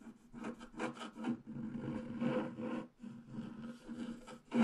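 A wooden stylus scratches branch lines into a flat black-coated scratch art paper sheet with a few strokes. Dry, raspy scraping comes in short uneven bursts with a steady low-mid tone, and each stroke fades quickly between passes, ending on a louder final scrape.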